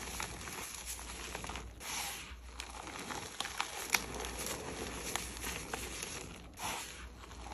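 Bare, chalk-covered fingers crumble and rub handfuls of loose, dry, pink-red gym chalk crumbs above a plate, letting the crushed red powder fall back down. The result is a steady, bright, crunchy crackling and gritty rustle, broken by sharper crisp snaps, over a faint low hum.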